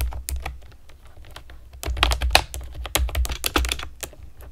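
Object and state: Plastic keyboard with round keycaps.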